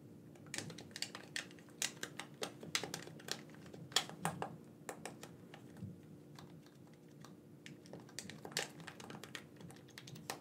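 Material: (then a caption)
Plastic. Fingertips tap and press the buttons of a black, wired, hand-sized hollow plastic game controller, giving a quick run of sharp, bright clicks over a steady low hum. The clicks are uneven in spacing and strength, each dying away almost at once.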